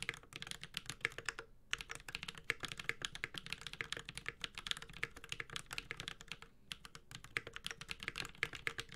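A Space65 Cybervoyager 65% mechanical keyboard with a metal case, Holy Panda switches and ABS plastic keycaps is typed on continuously with the fingertips of both hands. Rapid, bright, dry key clacks with very short decay run steadily, with brief pauses near 1.6 and 6.6 seconds.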